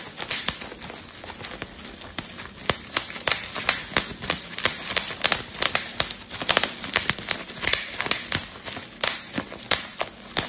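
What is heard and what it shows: A clear plastic bubble wrap sheet has its bubbles pinched and popped with fingertips. It makes a rapid, irregular series of sharp, bright snapping pops over a soft crinkling hiss. Each pop dies away almost instantly, with very little low end.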